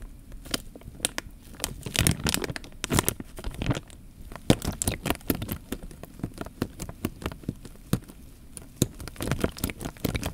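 A clear plastic bag full of water is held horizontally while fingertips squeeze and crinkle the film, and the water sloshes inside. Dense crinkling and crackling with sharp, bright clicks sits over a low, watery slosh, continuing steadily for about ten seconds.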